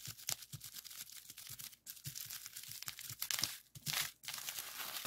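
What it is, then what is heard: Plastic bubble wrap. A clear plastic bubble wrap sheet with hollow air bubbles lies on a wooden desk; the bubbles are pressed and popped with fingertips, then the sheet is rolled into a tube and squeezed. Bright, dry crinkling and crackling fill the clip, with irregular quick pops and brief quieter gaps. Each pop is sharp and short and dies away almost at once.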